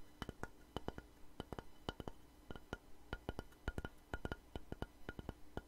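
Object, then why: Wooden plank. A long, light, solid wooden plank, held upright and then tilted, is tapped with long nails and fingertips. It gives a quick, uneven series of short, dry knocks, each with a low thud, a hollow woody tone and a bright click that dies away almost at once, over a faint steady low hum.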